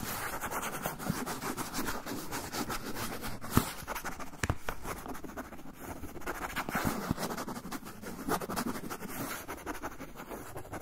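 A brown kraft paper pouch is held edge-on while a fingernail scratches along its folded paper edge. The result is a steady, soft, dry scratching texture across nearly eleven seconds, with a few sharper crackling ticks standing out.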